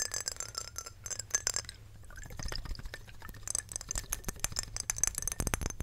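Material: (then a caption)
Glass. Long nails tap quickly on the sides of a square Chanel glass perfume bottle full of amber liquid, with a glass stopper. Bright, glassy clinks ring high over a low rumble, with a few louder taps standing out.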